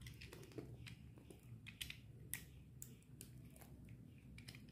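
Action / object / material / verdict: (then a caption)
scrape / bar of soap scraped with a metal blade / soap / none. A solid white bar of dry soap held in the palm is shaved and scraped with a metal utility knife blade, and curls of soap fall onto the table. Quiet, crisp, bright scraping ticks and short shaving strokes repeat irregularly over a steady low rumble, each dying away almost at once.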